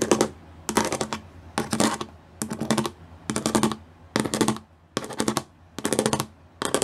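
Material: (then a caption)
Plastic. Long nails and fingertips drum quickly across the studs of a gray plastic studded sheet. Bursts of rapid, dry, bright clicking come in short clusters, separated by brief quiet gaps over a low steady hum.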